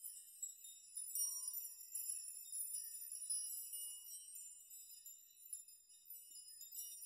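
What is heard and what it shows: Open hands brush and rock a chime of many hanging metal nails so they strike one another. It makes a soft, continuous shimmer of bright, high metallic tinkles with short rings. The clinks overlap and swell and fade in small waves.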